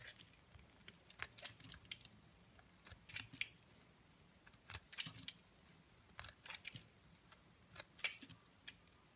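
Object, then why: Bar of soap. A palm-sized, solid cream-coloured bar of soap is shaved into curls and flakes with a snap-off utility blade held in white-gloved hands. Quiet, bright, crisp scraping strokes come in short irregular bursts, each ending almost instantly, over near silence.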